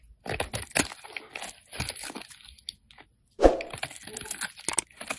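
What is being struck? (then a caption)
Bar of soap cut with a metal blade. A solid, rounded, hand-sized pink soap bar is held in the hand and scraped and cut with a metal utility-knife blade. The clip is a series of dry, crunchy scraping bursts, a brief pause, then a louder sharp crack followed by more crunching. The cuts leave crumbly shavings.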